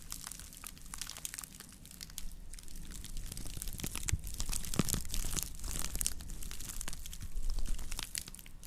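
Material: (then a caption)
Straw. Long nails scratch the woven rim and base of a round woven natural-fiber straw plate held close to the microphones while it is rotated. The result is a dense, dry crinkling and crackling texture of quick bright scratches and ticks over a low rumble, growing louder toward the middle and end.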